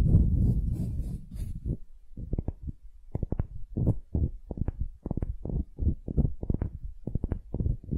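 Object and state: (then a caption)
Wooden ball scratched with nails. Long nails scratch a palm-sized solid wooden ball held in one hand. It opens with a continuous rough scraping that carries a faint high hiss. It then breaks into a quick, uneven run of short, dry, low scratches, each dying away almost at once.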